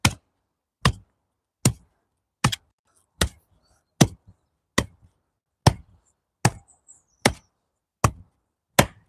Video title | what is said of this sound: Shaping up Dirt - Rebuilding The Next Take Off | you hear that dull sound like it's quite dull. It's not really like slapping.